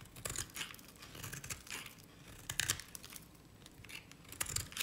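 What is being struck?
Bar of soap shaved with a knife blade.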